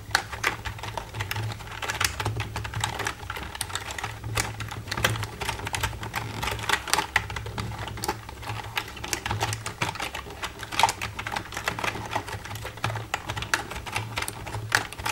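Long red nails tap and type across the keys of a black plastic computer keyboard, making a dense, steady run of short, sharp plastic clicks with a bright edge. A low, steady hum sits underneath throughout.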